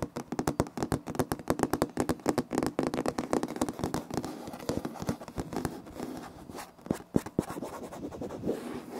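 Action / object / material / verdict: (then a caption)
scrape / wood-look laminate floor / laminate / none. Both hands' curled fingers scratch a flat, solid, light wood-grain laminate floor with short nails. The result is a rapid, dense run of crisp, dry scratches and taps with little ring, fairly even in loudness and softening slightly toward the end.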